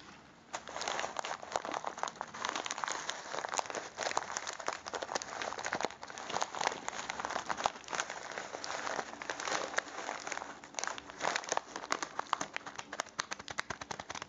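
A small plastic bag full of popcorn kernels is held in the hands and squeezed and rubbed with the fingertips. It gives a steady, dense crinkle with a grainy rustle of shifting kernels, made of many quick crackling snaps that are mostly mid to high in pitch with almost no low end.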